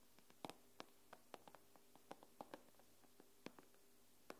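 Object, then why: Tablet glass screen. Fingernail tips tap and scratch the glass screen of an iPad, making 14 quick, dry clicks spread unevenly over the clip. Each tap is soft and bright, with a faint tone near 300 Hz, and dies away almost instantly against a low, steady background hum.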